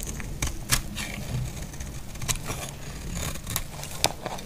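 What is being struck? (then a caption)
Bar of soap scraped by a knife blade. A utility knife blade scrapes a solid, dry green bar soap, and the curls fall onto denim. Short, bright, crackly scraping strokes stand out over a steady low rumble, each one dying away almost at once.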